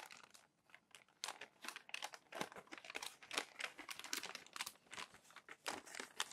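Fingertips lift, turn and press down the crinkly pages of a thick stack of glossy magazine paper that was crumpled and then smoothed, lying on a white desk. Dense bursts of bright, dry crackling and crinkling come in quick irregular clusters, with almost no low end. Each burst stops sharply with no ring.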